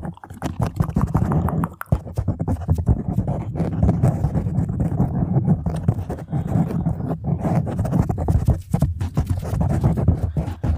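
Long nails from both hands scratch a black foam microphone windscreen, making a dense, muffled, low rumbling scrape with rapid crackling texture. The scratching runs almost continuously for about eleven seconds, with only brief drops in loudness around 2, 7 and 9 seconds, and has almost no high-end brightness.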